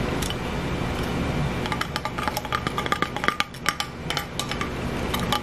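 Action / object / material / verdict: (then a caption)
tap / plastic makeup compact with hinged lid / plastic / none. A small black plastic blush compact with a clear plastic hinged lid is held in the hands and handled with fingertips and nails, tapped and its lid opened and closed. A rapid series of sharp, light plastic clicks and taps with very short ring rises over a steady low background hiss.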